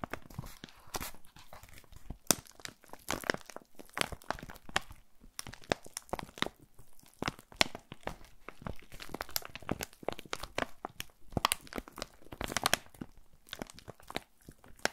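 A white paper bubble-lined mailer, D/14 size and seemingly holding something, is handled, crinkled and torn open with fingers. Dense, dry crinkling and crackling runs throughout, broken by sharp, bright tearing snaps that die away almost instantly. The mailer ends up torn open.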